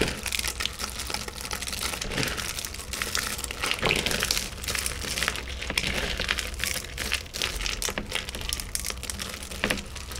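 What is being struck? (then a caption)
Thin chocolate shards. Fingertips rub, grab and crush a heap of thin, solid chocolate shards in mixed colors on a white tray. The result is a continuous, bright crinkly crackling with many quick, dense snaps throughout.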